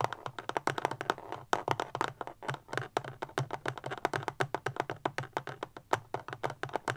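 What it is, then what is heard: Plastic powerbank tapped with fingernails. Long fingernails tap quickly on a small, solid, rectangular black powerbank with a plastic casing, standing upright. The result is a rapid, uneven run of short, dry, mid-pitched clicks with almost no ring, over a faint low hum.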